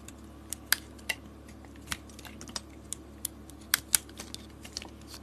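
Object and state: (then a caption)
Bar soap being cut. A box-cutter blade peels thick curls off a solid green bar of soap with a red glitter coating, held in the hand. About fifteen short, crisp, bright clicks and scrapes are heard. They are spaced irregularly over a faint, steady low hum.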